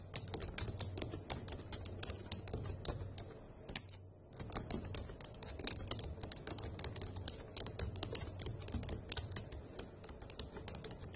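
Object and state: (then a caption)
Plastic laptop keyboard being typed on. Long acrylic nails and fingertips type rapidly on the hollow dark grey plastic keys of a laptop keyboard, producing a dense stream of sharp, bright clicks and taps over a faint low hum. The typing pauses briefly around the fourth second before continuing steadily to the end.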